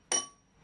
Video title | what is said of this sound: Meet Belgium's last shale 'miner' who works in solitude - AFP | Ça sonne plein, quoi. Tu comprends? Il n'y a pas un creux dedans. Il n'y a pas une fissure. Il n'y a pas un écartement entre les strates.